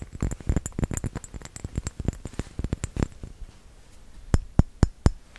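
A small round glass bottle with a metal cap, filled with red liquid, is tapped with fingertips and nails. A quick, uneven run of soft, dull taps fills the first three seconds, then after a brief lull come four louder, sharper clicks. Each tap is short and low-heavy, with only a faint bright tick.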